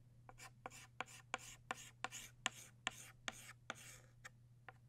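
A stick of blue chalk is rubbed repeatedly across a flat black chalkboard, shading in a drawn butterfly. About twelve short, dry, scratchy strokes come in an uneven rhythm, each a bright, gritty rasp with a sharp onset and almost no ring. A faint steady low hum sits underneath.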